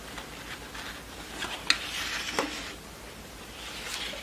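Long nails scratch and rub along the long yellow printed satin ribbon tails of a horse show award, lying flat on a wooden table. The result is a soft, bright scratchy hiss that swells and fades, with two sharper ticks standing out near the middle.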